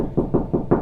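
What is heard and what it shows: Four knocks on a drywall wall at a spot with no stud behind it give a hollow, low-midrange thud that dies away quickly. This sounds slightly different from knocking over a stud.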